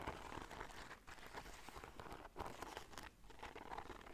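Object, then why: Fabric bag covered in beads and bead fringe. Long dark nails scratch and rub a black fabric bag covered in gold beads and bead fringe, held up by one hand. The result is a continuous, quiet crunchy crinkling and pattering rattle of beads, broken by brief near-silent pauses around 1, 2.3 and 3.1 seconds.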